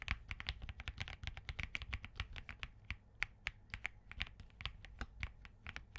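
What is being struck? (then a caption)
Mechanical keyboard, plastic keycaps. A compact Spark67 mechanical keyboard with POM, Crane switches with hollow housings, and green gradient plastic keycaps sits on a desk mat while both hands type rapidly with their fingertips. About 33 short, crisp clacks follow in a quick, uneven rhythm, each bright around 2 kHz with a low thock beneath and almost no ring.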